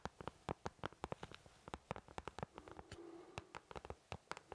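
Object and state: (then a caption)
Plastic paint palette. Fingertips of both hands tap and scratch the back of an empty white plastic paint palette, a thin shell with round wells, held in front of the face. About 27 quick, dry, hollow taps land in an uneven patter with almost no ring. A softer scratching stretch in the middle carries a faint low hum.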